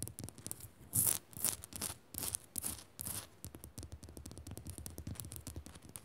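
Long nails scratch and tap the crystalline surface of a solid pink Himalayan salt lamp up close. Loud bursts of bright, gritty scratching dominate the first three seconds, then give way to a quick run of light, dry taps with soft low thuds beneath.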